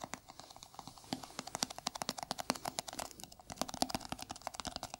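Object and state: Plastic jar tapped with fingertips and nails.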